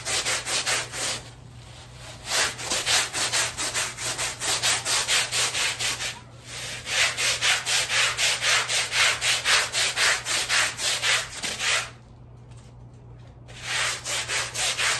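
A black bristle scrub brush on a long handle scrubs back and forth across a small, flat, patterned woven fabric rug that is wet and foamy. The result is a steady, rhythmic run of bright, scratchy, hissing strokes at about two per second. Brief pauses break the rhythm near the start, around six seconds, and between about twelve and thirteen and a half seconds.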